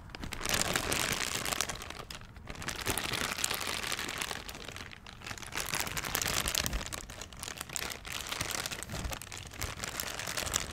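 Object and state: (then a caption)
Crinkled plastic bag. A thin, empty, transparent plastic bag is crumpled and crinkled in both hands in front of the microphone. Dense, bright crackling fills the clip in continuous waves, with brief dips around 2 and 5 seconds before the crinkling swells again.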